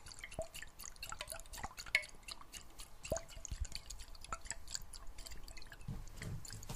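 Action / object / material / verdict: shake / glass jar with water and metal lid / glass / none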